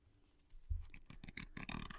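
Light tapping and scratching on an unopened, full metal tin can of country sausage gravy gives soft, muted knocks with short scraping bursts. The full can keeps the sound subtle, with little ring after each contact.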